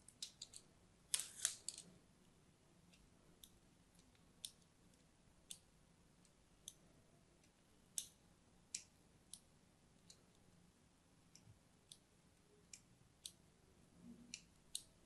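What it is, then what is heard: Bar soap being scored. A thin metal blade scores lines into a hand-held, pink-and-white striped solid bar of soap. About 20 short, bright, crisp scratching strokes come at an irregular pace, with a louder cluster of scrapes near the start. Each stroke dies away almost instantly over a quiet background.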